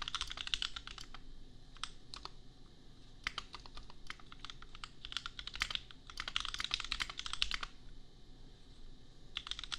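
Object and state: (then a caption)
Plastic mechanical keyboard. Fingertips type on a custom $250 compact mechanical keyboard with Gateron Milky Yellow switches and red and pink plastic keycaps. Bursts of quick, bright plastic clacks come in runs with short pauses, the busiest stretches in the middle and near the end. Each keystroke is crisp and dies out almost at once over a faint low rumble.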